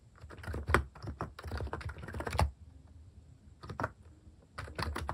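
Fingertips type on a compact capacitive keyboard fitted with plastic cat-shaped keycaps, producing soft, muted, low-pitched key thocks with little brightness. The keystrokes come in rapid bursts with brief pauses between them.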